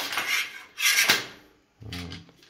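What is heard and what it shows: A steel Cossack shashka sabre is shaken in its scabbard, giving three bright metallic clattering bursts from the fittings. The blade sits tight and does not rattle or fall out, and nothing is loose.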